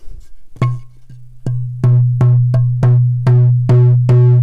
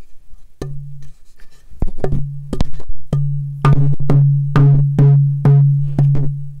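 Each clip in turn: First: African ebony board tap tone. Second: Torrefied purpleheart fretboard blank with a good tap tone.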